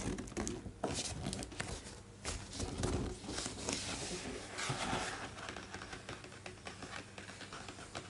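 Fingertips tap and trace across the thick glossy paper pages of an open, large hardcover art book, making soft, quick taps over a steady papery rustle. A thick page is then lifted and flipped with a bright crinkling swish and low, dull thumps.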